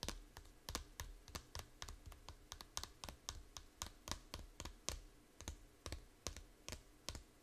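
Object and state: Plastic game case tapped with fingernails.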